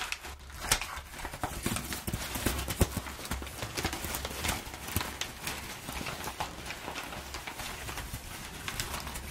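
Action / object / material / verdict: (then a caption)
scrape / crumpled kraft packing paper / paper / none. Long nails scratch and scrunch the edges of crumpled, perforated kraft packing paper, making a dense, continuous crackle and rustle. Sharp, bright clicks and snaps stand out over a steady low hum. The texture stays busy and crisp throughout, with no lasting ring after each crinkle.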